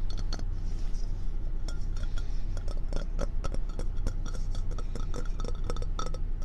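Long red-painted nails tap and scratch all over a hand-sized, hollow, empty orange and white ceramic mug shaped like a fox. Quick, bright, glassy clinks and clicks come at an uneven pace over a steady low hum, each one dying away almost instantly.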